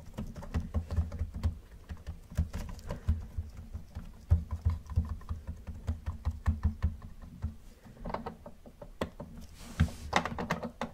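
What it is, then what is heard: Plastic toy car. Gloved fingertips tap rapidly on the hood and roof of a hollow yellow plastic Camaro model car. The taps come as a quick, uneven patter of soft, dull clicks with a low hollow thump underneath. Each one dies away almost at once.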